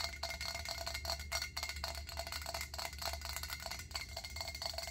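Long acrylic nails tap rapidly on a round stainless steel pot lid with a center knob. The result is a fast, steady stream of bright metallic clicks with a faint high ring over a low, constant hum.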